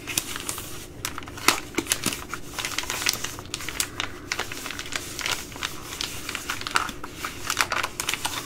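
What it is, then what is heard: Foil-lined plastic pouch. An opened Ready Rice pouch of plastic foil, its metallic foil interior showing, is crinkled and then scratched on a table with long nails. The result is a steady run of dense, bright crinkling with sharp crackles and quick, short-lived snaps over a soft background hiss, with little low-end weight.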